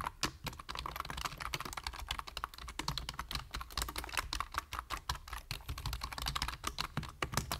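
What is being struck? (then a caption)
Plastic computer keyboard. A full-size black plastic computer keyboard with a hollow body and plastic keys is typed on rapidly with fingertips. The result is a continuous stream of quick, bright, clicky key taps with very short decay over a faint steady low hum.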